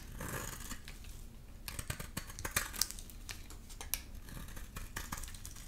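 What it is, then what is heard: Dry bar soap being shaved. A solid, rectangular, amber bar of dry soap is held in the hand and shaved into curls with a utility knife blade. The clip is a steady run of quiet, crisp scraping and cutting strokes, with sharp, bright clicks that stop almost instantly over a soft low rumble.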